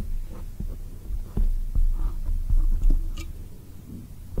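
A soft, black oval foam microphone windscreen is tapped quickly from both sides with long acrylic nails and fingertips. The taps come through as deep, muffled thumps over a low hum, with an irregular throbbing rhythm like a heartbeat and almost no high-frequency content.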